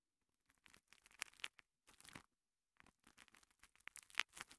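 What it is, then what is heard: Foam kitchen sponge. A small, soft, porous two-layer kitchen sponge, green foam on yellow foam, is held in fingertips with long painted nails and rubbed and squeezed against a recorder's microphone capsule. Quiet bursts of dry, crackling, scratchy rustle come in uneven clusters with short silent gaps between them. The sound is bright and airy with almost no low end, and the sharpest crackle comes near the end.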